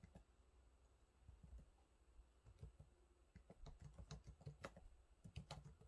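Fingertips type on the low-profile plastic keys of a silver laptop keyboard, producing a quiet, irregular run of soft taps. Each keystroke is a short, dull thud with a faint bright click that dies away almost instantly, and the typing grows slightly busier and louder toward the end.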